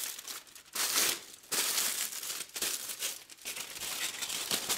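A thin, wrinkled aluminum foil sheet is lifted, pressed and crumpled by black-gloved hands over a white table scattered with foil scraps. Bright, crackling crinkles come in loud bursts with almost no low end, rising and falling as the foil is handled.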